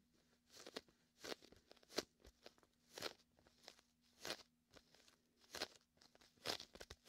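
Fingertips rest on a large red and white inflatable PVC beach ball, hollow and air-filled, pressing, peeling and scratching against its sticky vinyl surface. Quiet, bright crackly peels and soft crunchy scratches come in short bursts with brief pauses between them, over a faint steady low hum.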